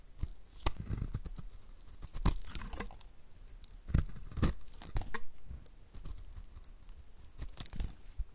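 A snap-off utility knife blade, gripped in the fingers, scrapes and cuts curls off the surface of a solid, dry, two-tone green and blue rectangular bar of soap held in the hand, while shavings pile up beside it. The result is a run of short, dry scraping and crunching strokes with a low thud beneath them and bright, crisp tearing edges on top. Each stroke dies away almost at once.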